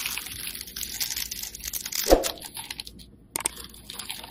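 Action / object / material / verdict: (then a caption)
scrape / bar of soap cut with a metal blade / soap / none. A hand-sized, rectangular pink solid soap bar with embossed lettering, held by fingers with painted nails, is scraped and cut with metal utility blades that shave off chips. The sound is a steady, crisp, crunchy scraping with a bright hiss, peaking in a sharper cut just after two seconds. It pauses briefly in near silence before the shaving resumes.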